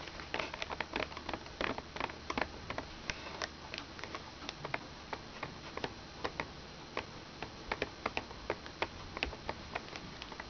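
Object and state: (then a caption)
Plastic toy laptop. Long red nails tap the keys and screen frame of a small, hollow plastic children's toy laptop, then fold the lid closed. A quick, irregular run of short, dry, bright clicks and ticks stops instantly with no ring, over a faint low background hum.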